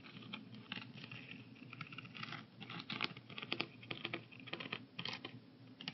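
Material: Plastic.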